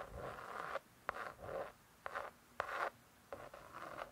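Long nails scratch and tap on the laminated cardboard cover of a closed spiral-bound hardcover cookbook. Soft, papery scratching strokes in the mid range alternate with several sharp, dry taps that stop instantly, with brief quiet gaps between bursts.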